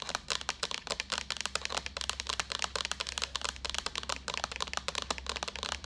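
Long acrylic nails tap rapidly on a hollow, empty-looking white plastic jug with a handle, about 32 quick taps in six seconds. Each tap is a short, bright, clicky knock that dies away almost at once, over a faint low hum.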